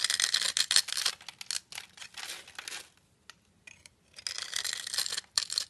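A utility knife blade scrapes and carves the surface of a solid black embossed bar of soap held in the palm. Bright, crisp scraping bursts come in quick irregular strokes, almost all high hiss with no low end, with a near-quiet pause in the middle before the dense scraping resumes.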